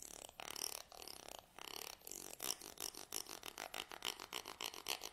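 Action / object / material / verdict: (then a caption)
scrape / wooden comb / wood / none. A black stick-like tool is scraped down the teeth of a small curved wooden comb held in one hand. A few longer raspy sweeps give way to a quick series of short, clicking strokes. The sound is bright and ticking, with almost no low end.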